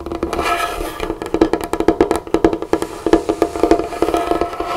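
Both hands drum and tap on a large, solid, dark-stained wooden tabletop with long natural fingernails and fingertips, one finger wearing a flower ring. The result is a fast, irregular run of short, dry knocks and nail clicks with a hollow, mid-pitched woody tone that dies away almost instantly.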